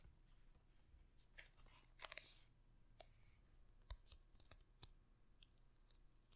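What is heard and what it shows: Long red nails tap and scratch the embossed printed paper cover of a large hardcover book held beside the microphone. Scattered sharp, bright clicks and brief scratchy rustles cut through a quiet, steady low rumble. Each tap dies away almost instantly.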